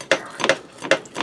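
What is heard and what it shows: Pressing on breaded chicken cordon bleu, air-fried in a Ninja Speedi, gives a series of short, crisp crackles from the crust. The crackles are sharp and bright with little low end. The chicken is crispy on the outside and tender and moist inside.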